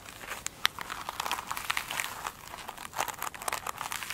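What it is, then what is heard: Glitter-coated foam sponge. Long acrylic nails scratch and tap a flat oblong foam sponge with a glitter-textured top resting on a table. The result is a steady stream of dry, bright crinkly scratching with many quick ticks and taps and almost no low end.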